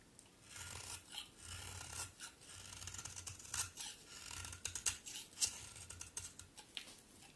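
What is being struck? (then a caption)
Bar of soap. A solid pink-brown bar of soap, held in the hand, is rasped and shaved with a utility knife blade. Bright, dry scraping strokes follow one another in quick, uneven bursts, with a faint low rumble beneath some of them.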